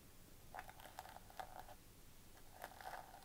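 Long painted nails scratch across the gold plastic sequin fabric cover of a flat notebook. Six quiet, rasping bursts of clicky, bright crackle stand out over a low hum, with short gaps between them.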